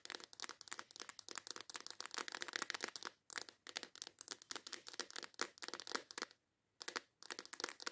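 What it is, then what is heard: Plastic box of nail files. Long acrylic nails tap and scratch rapidly on the lid of a small transparent plastic case full of nail files, held in the hands. The result is a dense run of sharp, bright clicks and crinkly scrapes with no low end, broken by brief pauses near 3.2 seconds and between about 6.4 and 6.8 seconds.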